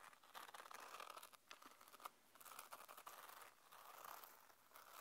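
A small black hollow hard-shell earphone case with a mesh fabric cover and a zip, held in the palm, is scratched and tapped with long painted nails. The sound is a soft, dense run of dry scratching and crinkly rasps with light taps, centered in the upper mids with some brightness and almost no low end.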